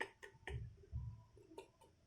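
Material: Fried skin.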